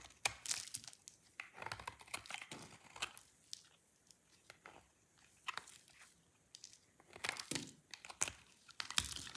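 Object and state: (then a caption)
Dry soap bar being scraped. A solid red soap bar is scraped and chipped with a utility knife blade, producing a steady series of crisp, bright scraping and crunching sounds. The short, sharp cuts come in uneven clusters with quiet gaps between them, and have very little low end.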